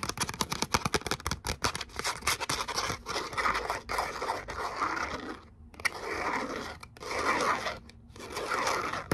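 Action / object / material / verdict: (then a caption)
scrape / glitter-coated cardstock cutout / cardstock / none. Long nails scrape and scratch the glittery face of a thin gold glitter cardstock letter "O" held in both hands. The result is a dry, bright, crackling scratch that comes in quick strokes at first, then settles into longer rasping bursts separated by brief pauses.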